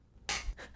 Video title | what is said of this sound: Episode 21 - Cheese Teas Please | That's not the sound you want. Sounds plastic.